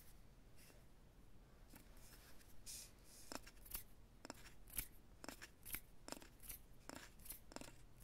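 A light, solid wooden rolling pin with handles rests on a lap while fingertips and nails tap and scratch along its barrel. Quiet, crisp clicks and taps with bright, dry nail ticks come in an irregular rhythm over soft scratching, each dying away almost instantly above a low, steady background rumble.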